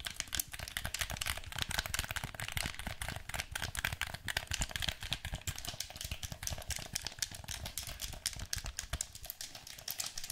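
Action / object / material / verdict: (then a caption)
tap / plastic game controller / plastic / none. A hollow black plastic handheld gamepad is held in both hands while its buttons and sticks are clicked and pressed with the thumbs and fingertips. It produces a steady stream of rapid, dry, bright plastic clicks with soft low thumps underneath, each click stopping almost instantly with no ring.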